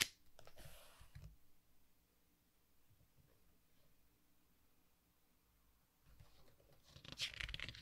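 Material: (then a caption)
Paper. Fingertips rub over a glossy page of a softcover artbook resting on a wooden table, then turn the page. A bright, papery swish opens the clip and fades into a long, near-silent pause of faint rubbing. It ends with a louder crinkling rustle as the page is turned.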